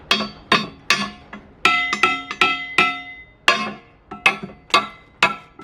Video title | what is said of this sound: BBQ Products Made or Manufactured in the USA | Here's the firebox made of cast iron, and you can hear it when I tap it.